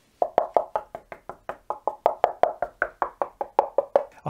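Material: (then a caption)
Plasterboard. Plasterboard glued with dot-and-dab adhesive directly onto brickwork beside a door frame, where there was little thickness to work with, is tapped 22 times in a quick, uneven series. Each tap is a short, dry knock with a higher, hollow pitch around 700 Hz, and some taps sound more solid where they land over the adhesive blobs behind the board.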